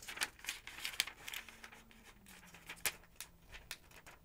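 Long-nailed fingertips turn the thin yellow pages of a thick paper phonebook lying open. Quiet, bright, crisp rustles and crinkles come in quick irregular flicks, with a faint low hum underneath.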